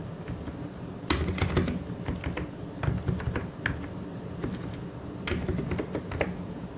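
Fingertips tap the keycaps of a white and grey plastic mechanical keyboard in an irregular typing rhythm. Sharp, bright clicks with short decays sit over a steady low rumble, with a few louder keystrokes standing out.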